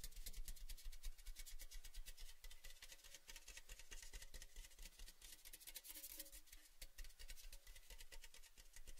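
A large, red, cylindrical Baileys metal tin, hollow, open and empty, is held tilted in the hands while the fingers tap and rub along its sides. The result is a dense, uneven stream of quick, dry taps with bright metallic clicks, over a low, hollow resonance that stays steady throughout.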